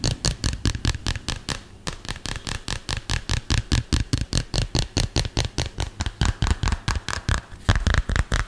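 A hand-sized, flat, solid smartphone in a dark green plastic case is held close to the microphone and tapped fast with fingertips and nails. About 39 quick, dry taps follow one another at an uneven pace, each a low, dull thud with a bright clicky edge that dies away almost at once.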